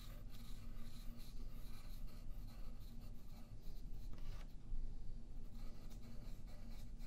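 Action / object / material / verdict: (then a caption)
scrape / graphite pencil on a paper sheet over a wooden table / paper / none. A yellow graphite pencil draws slow strokes on a thin sheet of white paper lying flat on a wooden table, held down by the left hand. A steady, soft rubbing and scratching continues throughout over a heavy low rumble, with faint bright scratchy streaks as each stroke moves across the paper.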